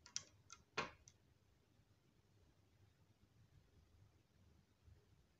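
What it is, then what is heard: Glass dropper clicking against bottle neck. A glass pipette is tapped and clicked against the threaded glass neck of a small, hollow frosted glass Niacinamide serum dropper bottle that is mostly full of clear liquid, before the cap is put back on. Five sharp, bright glassy clicks sound within the first second, with very short ring. Faint, quiet handling follows.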